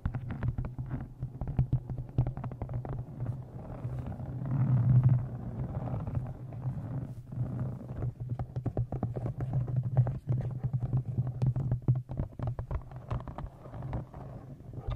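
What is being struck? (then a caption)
Embossed leather journal cover. Fingernails tap and scratch the cover and top edge of a thick brown embossed leather journal held close in front of a microphone. The result is a dense stream of soft, dull, low-pitched taps over a steady low hum, with almost no bright content. A louder rubbing swell rises around the middle of the clip.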